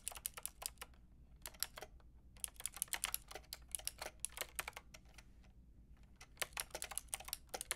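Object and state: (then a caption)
Plastic mechanical keyboard being typed on. Long painted nails and fingertips type on a white-pink backlit mechanical keyboard with round plastic keycaps. The result is bursts of quick, bright, clacky key taps with very short decay, separated by brief pauses, over a faint low hum.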